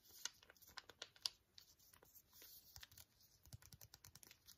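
A small, flat, sealed green foil-and-plastic antiseptic wipe sachet, held in both hands, is tapped and scratched with painted fingernails. Quiet, bright crinkles and sharp clicks come in an uneven string, with soft scratchy rustling between the taps.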